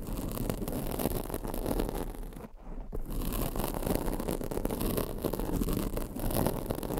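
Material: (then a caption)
Foam. Long blue nails and fingertips scratch and rub the black foam windscreen on a microphone, making a steady, dense crackling rustle. The sound is heavy in low frequencies, with a brief near-silent gap around the middle before the scratching resumes.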